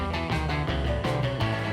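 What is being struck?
Nothing is struck.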